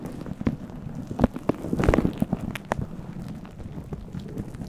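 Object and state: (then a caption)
Furry synthetic mic windscreen being scratched. Fingertips and nails scratch and rub a fluffy faux-fur synthetic windscreen on a microphone while hands stay cupped around it. The result is a dense, muffled crackle of rustling with sharp little clicks and pops scattered throughout, heavy in the low end and fairly quiet overall.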